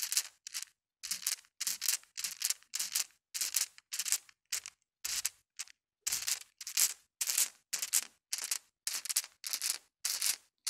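Small solid colored glass marbles in a white mesh net are swung and shaken against carpet, clacking together in quick, bright, rattling bursts. The bursts come in a loose, uneven rhythm separated by short silences, with crisp high clicks, no low thump, and almost no ring after each burst.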